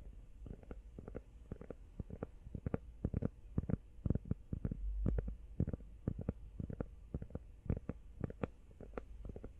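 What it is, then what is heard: Rubber phone case. Long nails tap fast on a small, hollow, empty teal rubber phone case held close to the mic and partly hidden by hands. The result is a rapid, uneven stream of soft, dull, low thuds with almost no ring.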